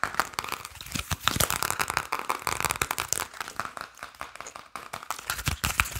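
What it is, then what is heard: Paper playing card deck. A small deck of printed paper and cardboard Briscas playing cards is held in the hands while fingertips and nails rapidly tap, flick and riffle the cards close to the mic. The result is a dense, continuous stream of dry, crisp clicks and crinkly snaps with a bright edge and almost no ring after each hit.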